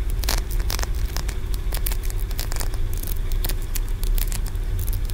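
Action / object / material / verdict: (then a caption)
scrape / small carved green aventurine stone pagoda / aventurine stone / none. Fingernails scratch and tap along the stacked ridges of a solid green aventurine stone pagoda, about 10 cm tall. Quick, dry, crackly clicks and scrapes flicker bright and brief over a steady low hum.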